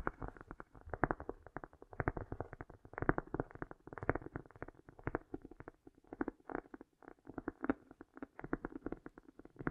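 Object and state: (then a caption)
Cork tapped and scratched. A cork is tapped and lightly scratched with fingernails, with an echo effect at full power. A quiet, steady stream of rapid, soft, muffled taps and scratchy patter fills the clip, dull and low-to-mid in tone with no bright highs, each tap trailing into a faint echo.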